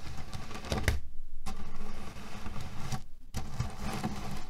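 Hands press, knead and rub a small square cotton cushion filled with cherry pits, shifting the pits inside. A dense, low, muffled rattle of pits grinding and clicking against each other, with brief lulls where the fabric goes quiet before the shifting picks up again.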